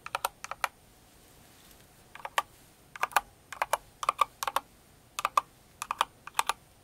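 A single finger with long nails taps keys on a Cinnamoroll kawaii mechanical keyboard with plastic keycaps. Sharp, bright plastic clicks come in quick bursts of one to three, separated by short pauses. Each click ends almost instantly against a quiet background.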